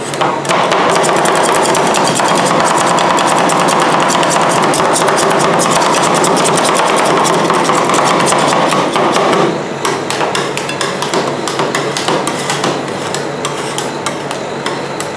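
Two metal spatulas strike down rapidly and repeatedly on a large, round, flat, solid stainless steel ice cream roll cold plate, chopping through frozen Nutella and Filipinos ice cream with some scraping. The result is a fast, steady stream of bright metallic taps and clacks. About two-thirds of the way through, the chopping continues more quietly.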